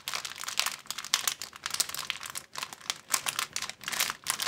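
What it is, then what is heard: Clear plastic bag being crumpled. An empty, thin clear plastic bag is squeezed and crumpled with the fingers, giving a steady run of dense, bright crinkling and crackling with very little low end. The bursts swell and fade in quick, overlapping waves, with brief near-silent gaps between some of them.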